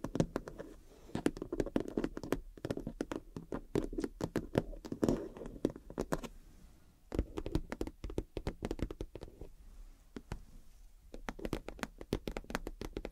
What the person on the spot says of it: a vinyl or pvc plastic wash bag or makeup bag that is bound to make amazing tapping